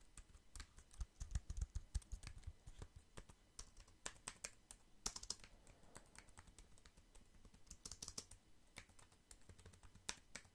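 A compact black plastic computer keyboard with a hollow housing is held up close while fingertips tap and type on its keys. The result is a steady patter of quick, dry clicks, each with a low, hollow thud underneath and a bright tick on top, dying away almost instantly. Bursts come fast and uneven, heavier near the start.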